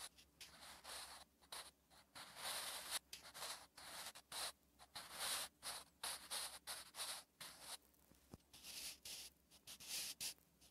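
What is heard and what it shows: A sharpened wooden graphite pencil writes Korean letters across a thin, flat lined page of a spiral notebook. Quiet, bright scratching strokes come in short bursts separated by brief pauses, with dry, hissy texture and no ring.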